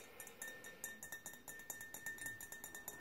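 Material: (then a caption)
Glass. A small, empty, faceted clear glass jar on a gold base is held in one palm while the fingernails of the other hand tap its glass sides. About nineteen quick, irregular, quiet clinks sound, each a short bright tick with a faint high ring near 1.8 kHz.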